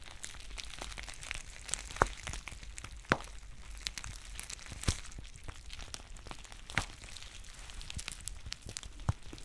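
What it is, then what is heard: Foil tea pouch. A green foil tea pouch is held near the camera while its base is squeezed and crinkled with long painted nails. A steady, soft crinkling runs throughout, broken by sharper, brighter crackles and snaps that stand out above it, over a low rumble.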